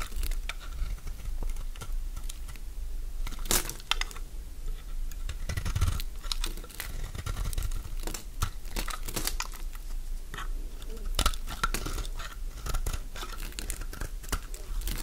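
A metal blade scrapes crunchy chunks off a solid mint-green Fa soap bar held in the hand. The result is a steady run of dry crackling and crinkling scrapes with sharp, bright clicks scattered throughout, over a low background rumble.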